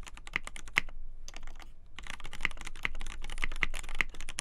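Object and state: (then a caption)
Polycarbonate mechanical keyboard. Both hands type continuously on a black polycarbonate KBD8x TKL mechanical keyboard with a polycarbonate plate, lubed Gateron Black Ink linear switches and white and black PBT keycaps, its hollow case resting on a desk mat. The fingertips press and tap out a dense run of short, crisp keystrokes with bright clacky tops, with a brief lull near the middle.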